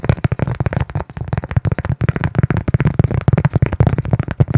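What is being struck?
Cork coaster.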